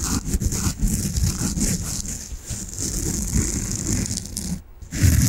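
Long nails scratch and squeeze a soft peach foam bath sponge, making a steady, dense scratchy rustle with a deep, muffled low rumble under a bright, hissy edge. The texture pulses unevenly, drops to near silence for a brief moment near the end, then comes back loudly.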